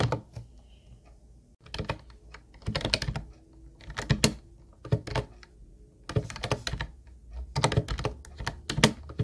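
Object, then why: Plastic computer keyboard. Fingertips type on an Ubotie teal plastic keyboard with round white keys, producing quick bursts of short clicky keystrokes separated by brief pauses. Each key press lands with a low plastic thud and a bright, sharp tick that dies away almost instantly.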